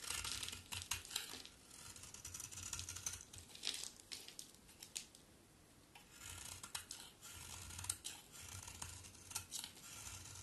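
A solid rectangular pink-brown bar soap with a dark outer layer is scraped and shaved with a utility knife blade, producing pink curls. The audio is a quiet run of bright, dry scraping and crisp shaving strokes with a low thump beneath some passes, and a softer lull in the middle before the strokes pick up again.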